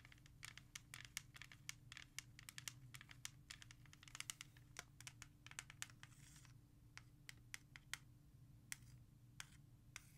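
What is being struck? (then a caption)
Plastic CD jewel case. Long red nails rapidly tap and scratch the front of a hollow plastic CD jewel case with an album cover, resting on a surface. Sharp, bright clicks and short scratchy rasps come in quick bursts over a steady low hum, with almost no ring after each tap.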